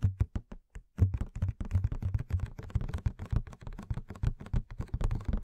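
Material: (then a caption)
Cardboard. Fingernails tap rapidly on the sides and plastic window of a hollow cardboard Madame Maxime Funko Pop box with the figure inside. A few spaced taps open the clip, then a dense, steady run of quick, dry, low hollow knocks follows with almost no ring.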